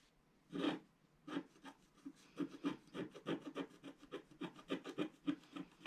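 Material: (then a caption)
Coated paper. A wooden stylus scratches the lower area of a flat, black-coated scratch art paper sheet held in place by hand. Short, dry rasping strokes come at an uneven pace, with a single stroke first and then a quicker run of them. Each stroke is soft, breathy and slightly gritty, and it stops at once with no ring.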